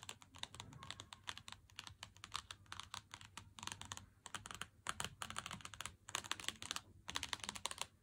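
A Lindt Excellence 90% chocolate bar in its white cardboard box, lying flat on a wooden table, is tapped rapidly with the fingertips and nails of both hands. Bursts of quick, dry, bright clicks come in clusters with brief pauses between them, each tap dying away almost instantly over a faint low hum.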